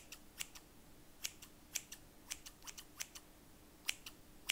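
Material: Steel.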